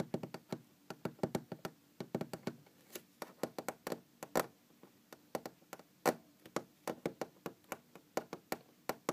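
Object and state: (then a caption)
Wooden object. Knocking and tapping on a wooden object, a dense run of about forty short, dry hits. Each knock is a quick woody thud centered in the low-mids, with a few louder, brighter raps standing out among the softer taps and almost no ring after each strike.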